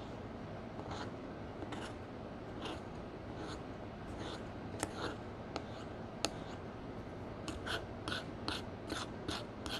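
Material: Pressed powder.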